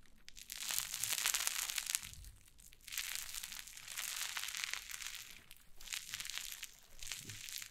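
White cloud slime on a wooden table is pressed and scratched with long nails and pulled apart. It gives dense, bright crackling and crunching in several waves, with quiet gaps between them and no ringing after each crackle.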